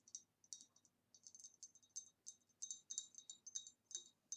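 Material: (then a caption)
Glass. A hollow, empty, ribbed green glass vase is held in one hand and tapped on its side with the long nails of the other hand. Quiet, irregular bursts of bright, sharp clicks follow one another, each dying away almost at once.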